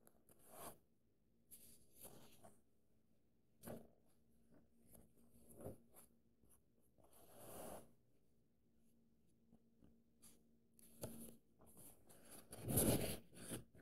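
Fingertips and short nails trace and scratch across the printed paper pages of an open paperback novel while a hand holds the book open, with some page turning. Soft, airy brushing swells and scratchy bursts come and go over a quiet background, with a faint steady low hum beneath. A louder, fuller rustle near the end sounds like a page being turned.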